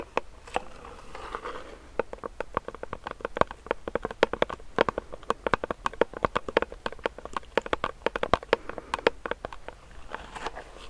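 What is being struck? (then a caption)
Plastic pump bottle filled with gel. Fingernails tap and scratch close to the mic on a medium, clear plastic hand sanitizer pump bottle filled with gel. Dozens of quick, dry, clicky taps come in a steady, uneven patter, each dying away almost instantly, with soft scratching rustle between them. The sound is thin and mid-pitched, with little low end.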